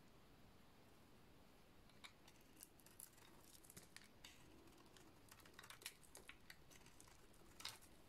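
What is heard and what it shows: A hand-sized oval bar of dry yellow soap with a black painted rim, held in one hand, is scraped with a small metal blade so shavings fall off. Quiet, steady low rustling runs throughout, broken by many sharp, bright scraping clicks that come and go with some louder peaks.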